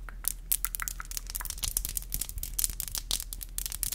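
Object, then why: Acrylic fingernails. Long black acrylic nails on both hands are tapped tip to tip, producing a rapid, uneven series of sharp, bright clicks with crackly, scratchy edges. Each click dies away almost instantly over a faint, steady low hum.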